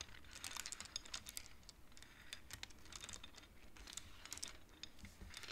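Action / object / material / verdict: tap / wooden abacus beads / wood / none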